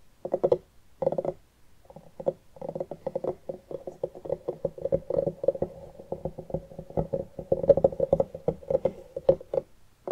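Both hands quickly tap and scratch the ribbed rind of a medium orange hollowed pumpkin, cut open at the top and resting on a wooden table, using long nails and fingertips. The result is a dense run of short, hollow, knocking taps with a resonant tone near 550 Hz, mixed with light scratchy rasps. After a few brief pauses at the start, the tapping becomes nearly continuous and builds slightly louder toward the end.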